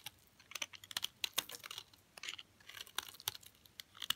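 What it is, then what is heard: Hard olive oil soap bar. A utility knife blade repeatedly cuts crunchy flakes off the edge of a solid, hard green olive oil soap bar. Quick, dry, bright scraping crackles come in a rapid, uneven series with almost no low end and no ring.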